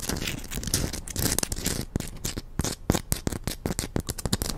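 Long acrylic nails scratch and tap a palm-sized chunk of solid pink rose quartz. The result is a quick, irregular run of dry, clicky taps over a grainy scratching texture. Each tap is short and bright, with almost no ring, over a dull low body.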